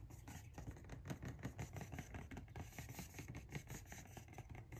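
Long nails tap and scratch the side panel and top edge of an orange Nike cardboard shoe box held upright and hollow. It makes a quiet, rapid, irregular stream of soft, dull hollow knocks, mostly low in pitch, mixed with faint papery scratching.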